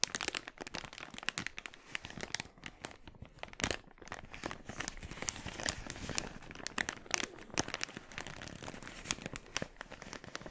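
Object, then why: Thin polyethylene mailer bag. An empty, glossy red, thin polyethylene mailer bag is bunched in both hands while fingertips squeeze, crinkle and stretch the plastic. The result is a steady, bright, dry crackle of many quick, sharp crinkles with no ring, over a soft, continuous rustle.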